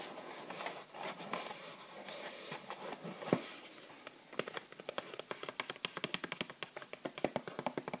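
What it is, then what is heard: Plastic and cardboard bath bomb box tapped. Long nails and fingertips tap fast on a small bath bomb package, a clear plastic sleeve with a cardboard band holding three bath bombs, held in the hands. The first half is a dense, soft patter of crinkly scratching and light tapping. It then turns into a quicker run of sharp, distinct, bright clicks and taps on the cardboard and plastic.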